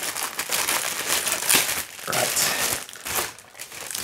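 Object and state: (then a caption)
Plastic bag. A thin clear plastic bag wrapped around a flat metal LHY Audio OCK-2 10MHz master clock generator is crinkled and rubbed by bare fingertips as it is unwrapped. The result is a steady, bright, dense crackling rustle with almost no low end. It swells around 1.5 seconds and again after 2 seconds, with brief dips near 2 and 3.5 seconds.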